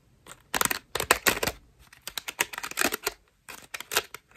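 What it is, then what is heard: Foam bath loofah. Long nails tap, scratch and squeeze the foam petals of a cream foam bath loofah. The result is bursts of crisp, bright, crackling clicks and scratchy rustles with almost no low end, separated by brief quiet gaps.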